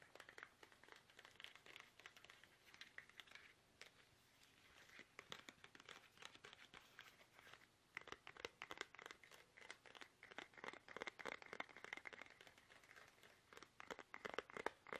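Fingertips tap fast on a small, hollow, squeezable soft plastic toothpaste tube held upright in both hands. The result is a dense stream of quick, crinkly, crackling taps with a bright edge and almost no low end. They come in rapid bursts with brief lulls near 4 and 7.5 seconds, growing busier and louder in the second half.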